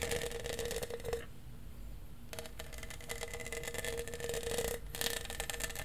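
Fingertips and nails tap and scratch along the studs of a large, hollow lavender studded plastic tumbler with a straw. The rapid, dense clicking and scraping has a faint hollow ring near 470 Hz. The sound drops to a quiet hush for about a second, then resumes just as busily.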